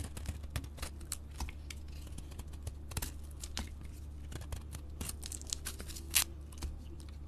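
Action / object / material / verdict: scrape / glitter-coated soap bar shaved with a blade / soap / none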